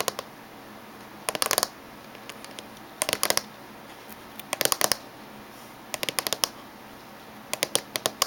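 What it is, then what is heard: Laptop casing tapped with fingernails. Fingernails tap and lightly drum on the top surface of a closed silver laptop casing, heard close up. Five quick bursts of sharp, bright clicks stand out against a faint steady hiss, with a few softer taps in between. Each click stops dead with no ring.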